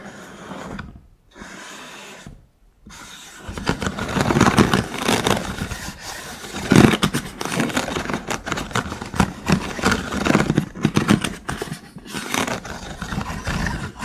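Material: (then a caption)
Wood. Fingertips and nails scratch across the ribs of a hollow wooden stick cylinder holder made of vertical thin wooden sticks. After a quiet opening with brief pauses, the scratching builds from about 3.5 seconds into a dense, dry clicking rattle with louder bursts near 4.5 and 7 seconds. Each stroke stops short with no ringing.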